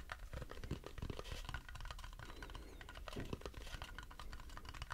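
Fast fingertip and fingernail tapping on the underside of a light, turned wooden bowl that is empty and held upside down. The dense run of short, dull taps has a low woody body with faint brighter clicks from the nails, and each tap dies away almost instantly with no ring.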